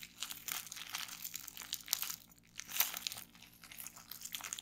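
A small bunched piece of clear plastic bubble wrap with air-filled bubbles rests on a wooden table while fingertips and long nails pinch and pop the bubbles and crinkle the sheet. Dense, bright crinkling runs throughout, broken by sharp, dry little pops and snaps that die away instantly, with no low body to the sound.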